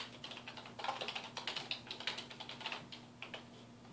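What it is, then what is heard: Plastic computer keyboard being typed on. A black plastic computer keyboard on a wooden desk is typed on with the fingertips of both hands. It gives a quick, uneven run of bright, short key clicks that die away almost instantly, over a faint steady low hum.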